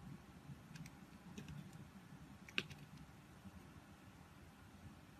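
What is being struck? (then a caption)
Bar of soap cut with a metal knife blade. A palm-sized, solid pink oval soap bar embossed "Love Nature" is held in a hand with long white nails while a metal utility knife blade shaves thin slices off its surface. Quiet, crisp scraping clicks stand out over a low background rumble, with one sharper, brighter click partway through.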